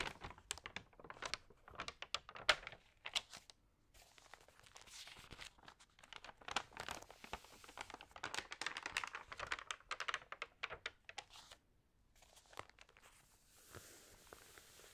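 Fingers turn the pages of a thin paper magazine while long nails scratch across the thin paper, making dense, bright crinkles and rustles with sharp snapping bursts. The sound comes in busy clusters broken by brief quiet pauses, with very little low end and almost no ring after each rustle.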